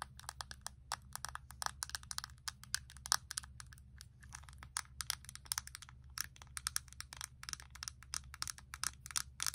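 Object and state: Plastic eyeshadow palette.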